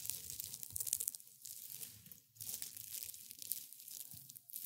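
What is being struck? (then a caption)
Dried rosebuds and petals. Dry rosebuds and petals resting on a white cloth are squeezed and rubbed by hands in gray and black felt gloves. A crisp, bright crumbling and crackling continues throughout, with brief quieter pauses between handfuls and almost no low end.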